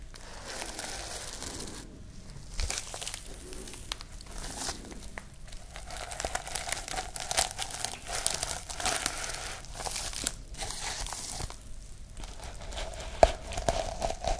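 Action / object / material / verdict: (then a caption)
scrape / sequin fabric pouch / sequins / none. Long nails scratch across a sequin fabric pouch, flipping the sequins back and forth. The result is a steady, dense crinkly rustle with bright, sharp clicks and a faint mid-pitched tone, broken by a few brief quiet pauses.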